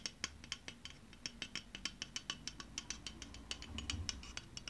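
Long painted fingernails tap a hollow pink aluminium aerosol deodorant can held in one hand, producing a quick, uneven series of sharp, bright metallic ticks. Each tap gives a short ring centred near 3 kHz and dies away almost immediately over a low, soft background rumble.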